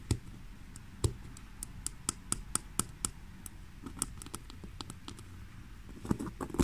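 Long fingernails scratch the front panel of a black basket-weave, leather-look woven faux leather handbag, producing a series of short, dry, crisp scratches and ticks. A low background hum sits beneath them, and a cluster of louder scrapes comes at the end.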